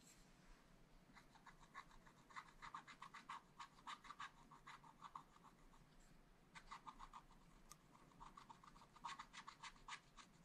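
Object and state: Scratch art paper being scratched.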